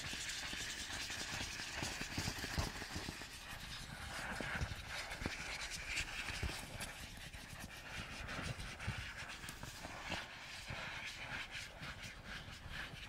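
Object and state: Nothing is struck.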